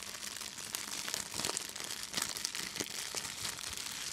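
An empty clear plastic bag is scrunched and crinkled by fingers with long nails, close to the camera. It makes a steady, bright crackling rustle with many small sharp crinkles and almost no low end.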